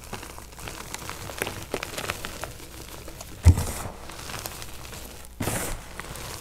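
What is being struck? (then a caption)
Crushed gym chalk powder and chunks. Bare hands scoop, squeeze and crumble handfuls from a large pile of lavender-dyed crushed gym chalk (magnesium carbonate), a loose, crumbly powder with small chunks, and rub it between the fingers and palms. A soft, steady crinkling and crumbling is dotted with small crackles. A louder dull thump comes partway through and a brief, brighter rustling burst follows near the end.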